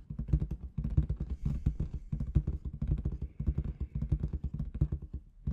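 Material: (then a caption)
Latex. Long red nails rapidly tap and scratch the surface of a large inflated clear latex balloon with confetti inside. The result is a dense, irregular stream of soft, dull thumps, heavy in the low end, with short, dry taps and a faint high rustle in between.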